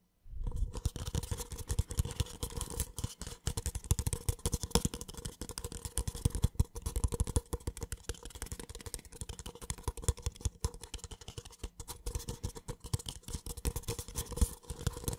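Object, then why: Small paper cup. A small, empty, hollow white paper cup is held in one hand and scratched and tapped along its side with the fingertips of the other hand. Dense, rapid, dry scratching and tapping continues for about fifteen seconds, with a soft, hollow, low-heavy body and faint bright crackle. Each contact dies away almost instantly.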